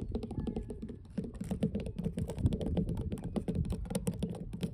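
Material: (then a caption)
Wood. Long blue nail tips of both hands tap quickly on large, solid, weathered wooden dock planks. The result is a dense, continuous patter of short, dull, low-pitched clicks with almost no ring.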